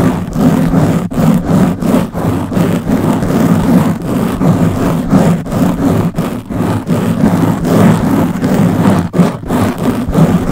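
Long blue-painted nails of both hands scratch a round black foam windscreen covering the head of a Blue Yeti microphone. The result is a continuous, muffled, low-heavy scratching rumble with a steady tone underneath, broken only by brief quiet gaps as the nails shift.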